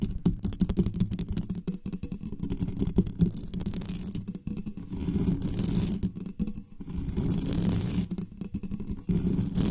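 Long nails rapidly scratch the metal mesh grille of a black condenser microphone with both hands. The result is a dense, continuous rasping scrape that is heavy and rumbling in the low end with little brightness. It dips briefly a few times before resuming.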